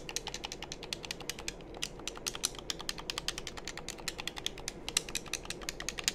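A hollow black plastic game controller is held in both hands while fingertips press its buttons and tap its shell. About fifty quick, bright plastic clicks and taps come in a steady, uneven stream, each dying away almost instantly over a faint low hum.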